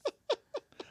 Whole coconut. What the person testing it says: I don't hear anything in here like no water at all you should be able to shake it and hear it